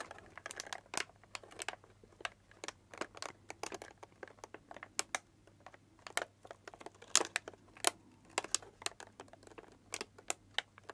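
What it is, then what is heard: Tissue paper crinkling. Fingertips and long nails squeeze and crinkle light blue tissue paper wrapped around a small cylindrical gift held in both hands. The result is quiet, continuous crinkling broken by many short, sharp, bright crackles.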